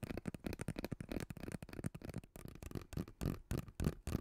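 Fingertips and nails scratch and squeeze a hollow, purple ribbed plastic pop tube. The result is a quick, irregular run of dry, crackly scratches and short muffled pops, weighted toward the low end. Each burst dies away almost instantly.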